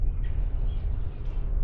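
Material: Nothing is struck.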